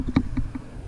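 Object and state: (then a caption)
Loose microphone adapter rattling. A loose GoPro microphone adapter rattles against the mount support that a Rode VideoMicro microphone screws into as the rig is shaken with the microphone unplugged. Three short, dull knocks are heard, each with a low thump and a brief tonal ring near 260 Hz, and the rattle shows the adapter is loose.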